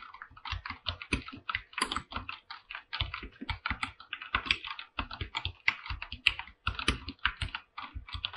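Fingertips type continuously on a full-size mechanical keyboard with an aluminum body and white and light-blue PBT plastic keycaps. The result is a steady, rapid run of sharp, dry keystrokes, each a bright clack with a short low thock underneath that stops almost at once. There are brief pauses between bursts of typing.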